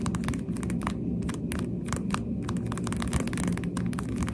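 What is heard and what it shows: Pink plastic sunglasses are held in both hands while fingertips tap on the lenses and frame. Quick, soft, light plastic clicks come in an uneven rapid stream. A steady low hum sits underneath throughout.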